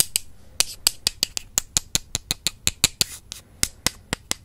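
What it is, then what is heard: Wooden brush handles tapped together. Two slim, solid wooden makeup brush handles, held with long purple nails, are tapped and crossed against each other in front of a microphone. The result is a steady run of about twenty sharp, bright, dry clicks with almost no ring and little low end.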